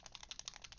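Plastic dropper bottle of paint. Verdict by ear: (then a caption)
Liquid. A plastic dropper bottle of plasmatic green paint is shaken, giving a quick, bright, rapid rattle of liquid paint sloshing inside. The audible movement shows the paint is liquid and not clogged, ready to be dispensed onto the palette.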